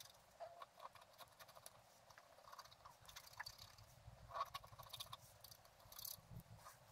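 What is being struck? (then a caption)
Black-coated scratch art card scratched with a wooden stylus. A wooden stylus scratches short strokes into a flat black-coated scratch art card lying on a table. The quiet, dry scratches come in quick irregular bursts, with bright hiss and a faint mid-range tone over a low background rumble. Each stroke stops at once with no ring.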